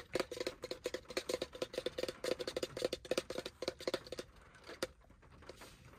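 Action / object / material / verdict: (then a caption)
tap / small plastic lotion bottle / plastic / none. Fingertips and nails tap rapidly on the sides of a small white plastic lotion bottle with a black cap, held in the hand. The taps are quick, dry clicks with a hollow ring around 500 Hz. They run for about four seconds, followed by one last tap near five seconds and then quiet.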